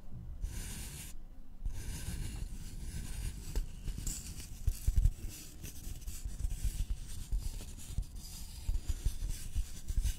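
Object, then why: Thin flat wooden board. Fingernails of both hands scratch a thin, flat, solid wooden notched trowel board with visible grain. The result is a steady, dry scratching and rubbing texture with a heavy low rumble underneath and a bright, hissy upper edge that briefly drops out early on. Several louder scrapes stand out near the middle.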